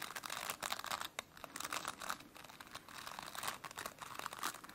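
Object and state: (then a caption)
Plastic bristle brush. Long nails scratch and rake through the dense plastic bristles of a plastic brush. The result is a continuous run of dry, crinkly scratching bursts, bright and crackling in the mids and highs with almost no low end, each stroke rising and fading quickly.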